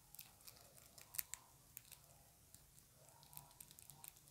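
A small round dark plastic compact makeup case with a printed lid is held in both hands and tapped and scratched with long acrylic nails. Quiet, bright, crisp clicks and scratchy crinkles come in an irregular flurry, each dying away instantly, over a faint low hum.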